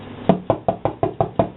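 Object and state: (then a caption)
Sourdough loaf sounding hollow (baked through). A freshly baked sourdough loaf is turned upside down and tapped seven times on its bottom crust, giving short, dull, hollow knocks with a low body and no ring. The hollow sound shows the loaf is baked through and done.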